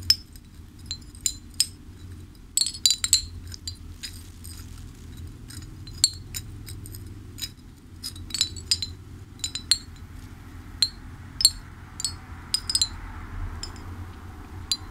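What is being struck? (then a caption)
Hanging ceramic wind chime. A hanging ceramic fish wind chime, held by its top near the mic, is gently swayed so its ceramic pieces clink together. Bright, short clinks ring out irregularly and fade quickly, over a steady low hum in the background.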